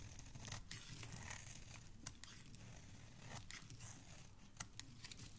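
A dark blade cuts and scrapes curls from the middle of a solid pink soap bar held in the hand. Crisp, crinkly scraping and tearing textures run throughout, broken by short, sharp bright snaps over a soft low rumble.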